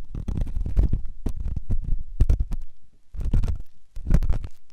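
A metal ear pick held in the fingers scratches inside the ear canal of a white solid silicone ear on a binaural microphone. It makes a run of deep, muffled, rumbling scrapes and thuds, with almost all the sound low and heavy. There are short pauses near the three- and four-second marks.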